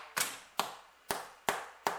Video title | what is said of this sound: HOW TO MAKE BEER BREAD - Aussie girl can cook | if it sounds hollow, she's ready